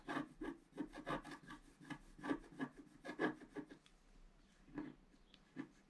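A flat coated scratch-art paper card lying on a table is scratched with a pointed wooden stick. A quick run of short, dry rasping strokes with a mid-pitched scratchy tone gives way to a few sparser strokes after a brief pause. Each stroke ends quickly, leaving quiet gaps between them.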